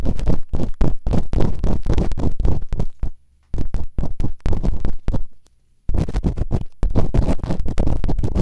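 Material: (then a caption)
Silicone. Bamboo earpicks held in fingertips with long nails scratch and rub inside both open ear canals of a white binaural microphone's soft, solid rubbery silicone ears. The sound is a rapid series of dense, scratchy rubbing strokes, heavy and low in tone, with two short pauses of silence around 3 to 3.5 and 5 to 6 seconds. The strokes are fast and tightly packed, each dying away almost at once.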